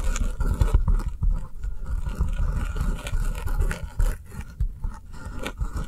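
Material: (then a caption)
Foam. Long nails tap quickly on the top of a round, solid foam kitchen sponge shaped like an avocado, with an avocado-print top, lying on a table. The taps come out as a fast, continuous stream of soft, dull, low thumps mixed with faint scratchy scraping, with almost no ring after each tap.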